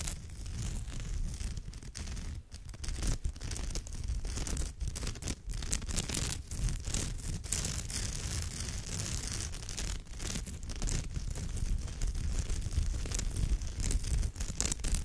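Long nails of both hands scratch across the textured fibre rows of a woven straw or raffia purse, making a steady, dense rasping and crinkling with many quick strokes. The sound is low-heavy and continuous for about fifteen seconds, with a bright, scratchy top.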